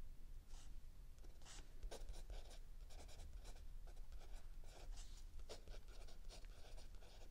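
A mechanical pencil writes continuously on a lined page of a spiral-bound notebook lying flat on a wooden table, next to an open paperback book held still. Quiet, bright scratching strokes come in short bursts over a steady low rumble.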